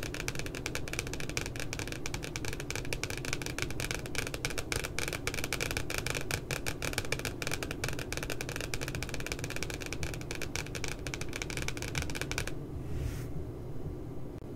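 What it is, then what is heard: Spiral notebook cardboard cover tapped with nails. Long glittery nails tap and scratch the glossy cardboard back cover of a spiral notebook, making a dense run of quick, crisp clicks over a steady low rumble. The tapping stops near the end, leaving a brief soft swish and then only the low background hum.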